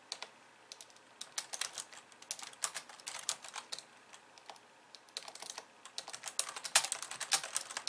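Two hands with long nails type on a pink plastic computer keyboard with white keys, tapping the keys. Quick, bright, clicky taps come in irregular bursts, with a short lull midway before the typing picks up again. Each tap is crisp and dies away almost instantly.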